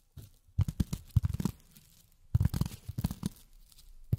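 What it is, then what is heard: Polyethylene foam. Long fingernails tap on polyethylene foam in two quick bursts of rapid taps separated by a short pause. Each tap is a dull, low, thumping pat with a faint crinkly, tearing texture. The taps stop dead, leaving almost no ring.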